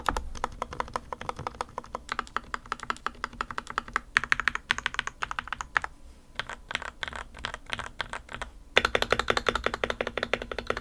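Fingertips type on the plastic keycaps of a modded RK61, a small white plastic 60% mechanical keyboard on a desk mat, first with two hands and then with one. About 80 quick, crisp keystrokes fall in a steady clacky rhythm with a short, muted thock and no lingering ring. The typing thins out briefly near the middle and returns denser and louder toward the end.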